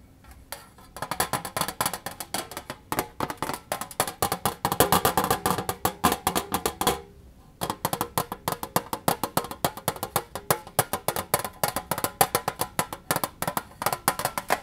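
An empty, hollow pink rectangular metal baking-kit tin, held in the hand, is rapidly tapped and scratched inside with fingernails. The result is a fast stream of short, bright metallic clicks with a hollow ring centered around 800 Hz, with a brief pause near the middle before the tapping resumes.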